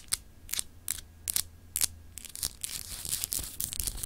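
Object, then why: Glass globe paperweight. Long acrylic nails scratch a palm-sized solid clear glass globe paperweight with etched continents, held in the hand. Five separate bright, hissy scratches sound over the first two seconds, then the strokes speed up into a dense, rasping flurry of short scrapes. A faint low hum runs underneath at first.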